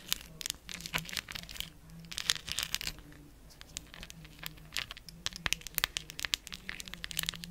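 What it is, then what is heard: Cork coaster with glued plastic gems. Long acrylic nails tap and scratch across a round, palm-size cork coaster covered with large, colorful plastic rhinestone gems glued onto its solid surface. The result is a quiet, rapid run of bright, sharp clicks and crinkly, crackling scratches. A faint low hum sits underneath.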